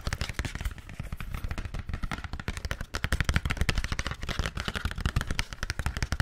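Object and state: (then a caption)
Cardboard product box. Fingertips and nails tap rapidly on the face of a flat, thin, hollow, hand-sized printed paperboard box for a paper-feel screen protector, held in front of the mic. The result is a fast, continuous patter of dull, hollow, low thuds, each with a bright click on top and almost no ring, growing slightly louder midway.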